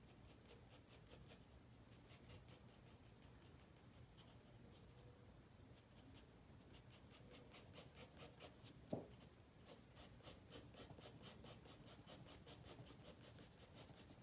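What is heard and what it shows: A wooden pencil makes short scratching strokes on a white spiral paper sketchpad lying flat while drawing. Quick, bright, dry scratches repeat in a steady rhythm, growing louder and more closely spaced in the second half. One sharper tap stands out around the nine-second mark.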